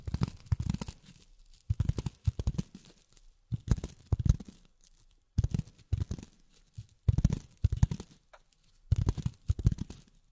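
Long fingernails tap and scratch on polyethylene foam in six short bursts of rapid, dry, crinkly taps. The taps are soft and low with a rustly edge, each dying almost instantly, with brief quiet gaps between bursts.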